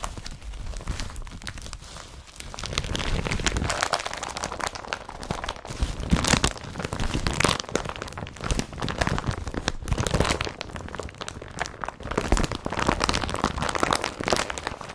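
Hands fold, crumple and squeeze an empty blue woven polypropylene IKEA BRATTBY carrier bag. The result is a dense, continuous crinkling and rustling full of sharp crackles, with strong low-end thumps and bright crisp edges. The loudness swells and dips as the plastic is worked throughout.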